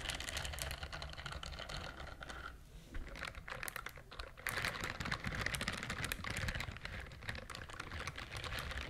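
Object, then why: Silicone scrubber glove with bristle pad. Long acrylic nails on one hand scratch and rub the bristle pad of a pink silicone dishwashing glove worn on the other hand. The result is a dense, rapid stream of crisp, bright clicking and scratching with a low rubbing undertone. It eases briefly around the third and fourth seconds, then returns louder and steady.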